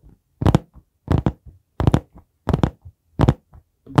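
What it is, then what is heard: Hardcover notebook. Fingertips tap and knock on the board cover of a dark brown hardcover notebook held vertically against the mic. Dull, low, dry knocks land in quick clustered bursts at a steady pace, each followed by a softer, lighter tap. There is almost no ring between them.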